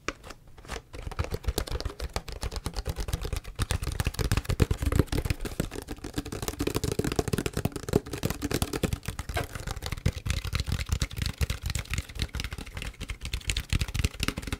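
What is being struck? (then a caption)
Plastic PET bottle. A large, clear PET plastic tea bottle with a green paper label, mostly empty and hollow, is tapped rapidly and continuously with fingernails and fingertips. The result is a dense stream of short, dry taps with hollow, low-heavy thumps and light clicky edges, each dying away almost instantly.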